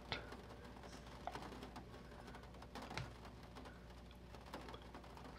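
Fingertips tap and slide over the printed page of an open vintage paper catalog resting on a wooden table. Soft, scattered taps and papery brushing sit over a steady low hum, with a few sharper taps standing out. The overall level is quiet.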